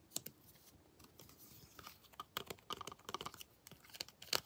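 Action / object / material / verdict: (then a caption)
tap / molded plastic action figure / plastic / none. Long blue acrylic nails tap and scratch the arms and armor of a hand-sized, detailed molded plastic or vinyl Predator action figure held in the hand. The result is a quiet, uneven run of sharp, bright clicks with soft scratching between them, each tap dying away almost instantly with almost no low end.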